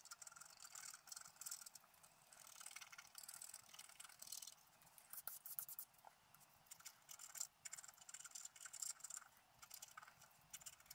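A wooden stylus scratches fine lines into the coating of a flat black scratch-art paper sheet lying on a table. Quiet, bright, dry scraping strokes come in short irregular bursts with almost no low end, each dying away quickly.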